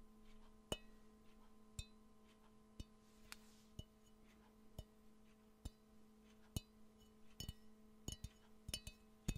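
A hollow, empty, yellow glazed ceramic Pikachu-shaped mug with ears is held in the hands near the mic and tapped with the fingernails. Sharp, bright clicks sound at irregular intervals over a steady, faint ringing tone.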